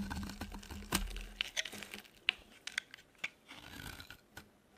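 A metal blade carves a solid, dry, cream-white soap bar, shaving thin flakes into the hand. Dry, bright scraping crunches and sharp crackling snaps come in quick, irregular bursts over a faint low hum that fades after about two seconds.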